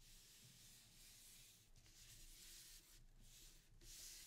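A sheet of thin printing paper lies flat over an inked linoleum block on a table while both flat palms rub firmly across it to burnish the print. The result is a steady, bright, hissing friction sound with brief dips between strokes.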